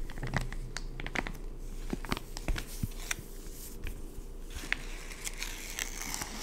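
Fingertips grip and squeeze a full, soft white and yellow plastic pouch of wet wipes lying on a wood-pattern table. The result is a steady run of soft, irregular crinkling with sharp, bright plastic crackles scattered throughout at a fairly quiet level.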